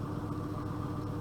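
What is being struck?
Nothing is struck.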